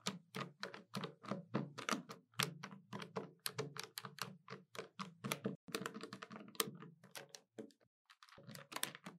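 Long nails tap quickly on the keys of a hollow black plastic desktop calculator and on the plastic edge near its display. The result is a rapid run of short, dry, hollow clicks and thunks with bright edges, with a brief pause shortly before the tapping resumes at the end.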